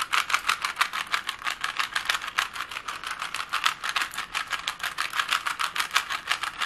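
A small hollow plastic Rubik's cube with colored stickers is held in both hands as its layers are twisted quickly and it is tapped with long nails. The result is a rapid, uneven stream of sharp clicks and rattles that stay bright, with no low end and almost no ring after each click.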